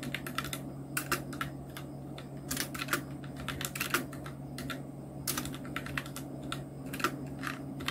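Fingertips of both hands type on a full-size black Nubwo Illution NK-70 mechanical keyboard with Outemu red switches, round plastic typewriter-style keycaps and blue backlight, resting on a white desk. A steady stream of quick, bright plastic clicks and clacks runs throughout, with occasional louder keystrokes over a faint low, steady hum.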